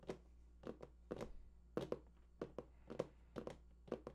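Fingertips tap the side panels of a large, hollow cardboard PS4 console box held at both sides. Fourteen short, dull, hollow thuds come in quick pairs and clusters, each dying away almost at once over a faint steady low hum.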